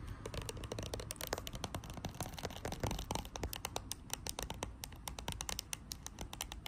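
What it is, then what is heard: Plastic hand sanitizer bottle. Long acrylic nails tap and scratch the body and label of a small clear green plastic Dettol hand sanitizer bottle filled with gel, lying on a white cloth. A rapid, steady stream of short, dry clicks and scratchy rustles with bright high edges over a low, soft bed continues without pause.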